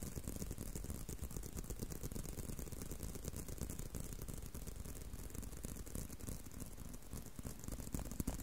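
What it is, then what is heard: Leather belt. A leather belt is tapped and handled, giving a quiet, steady stream of rapid, dull taps and soft rattling. The sound is mostly low and thumpy, with faint bright clicks over the top. A few slightly louder taps come near the end.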